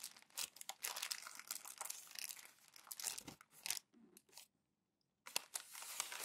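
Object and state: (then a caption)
Glossy magazine paper being crumpled. Bare hands with long nails crumple and rub glossy magazine pages into folds. The result is dense, bright crinkling and crackling with sharp papery bursts, then a brief near-silent pause before the crumpling resumes.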